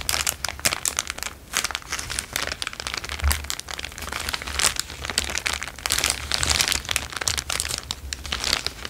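A thin, empty, transparent plastic bag is held in both hands and crinkled with the fingertips. It makes a dense, continuous stream of bright, crackling crinkles with quick, sharp snaps that barely ring. A faint low hum sits underneath throughout.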